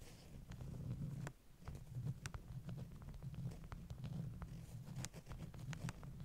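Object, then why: Stack of beeswax-coated cotton wraps. Long nails tap and scratch the top sheets of a stack of flat beeswax-coated cotton wraps. Quick, sharp clicks and light scratches land irregularly over a steady low rumble that dominates throughout.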